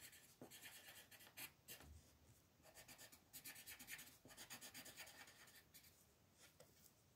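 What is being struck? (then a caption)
Colored pencil on paper sheet. A green colored pencil makes fast scratching and rubbing strokes across a flat white paper mandala coloring sheet. The quiet, bright, papery scratches come in quick, uneven bursts of strokes.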